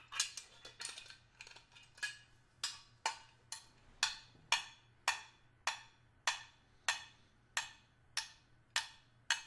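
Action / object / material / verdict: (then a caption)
tap / stainless steel hip flask / stainless steel / none. A small, hollow stainless steel hip flask, held in the hand with its fill level not visible, is tapped and scraped along its edge and face with the tip of a small screwdriver. A quick cluster of light scrapes and clicks opens the clip, then bright, thin metallic taps follow at a steady pace of about one every half second. Each tap decays quickly with almost no low end.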